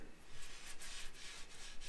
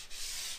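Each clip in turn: First: Steady dry rubbing over paper drywall tape, with a hollow tone where a blister is unbonded. Second: A brief, even hiss of a fingertip rubbing along paper tape, steady throughout with no hollow change.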